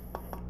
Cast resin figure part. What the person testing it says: when you tap on it you can tell it's it's got a different sound to it